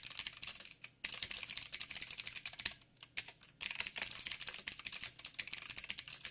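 Fingertips of both hands, one wearing a ring, type rapidly on a backlit full-size mechanical keyboard with plastic keycaps and blue clicky switches. Dense streams of sharp, bright clicks with almost no low end come in quick bursts, with brief pauses near the one-second mark and again around three seconds.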